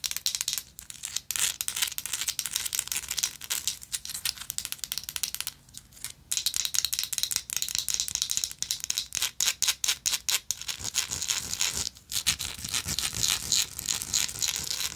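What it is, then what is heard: Textured metal lighter scratched and tapped. A small, textured gold metal lighter held in the hand is scratched and tapped with long nails. The result is dense, rapid, bright rattling clicks and scratches with almost no low end, broken by a few brief pauses.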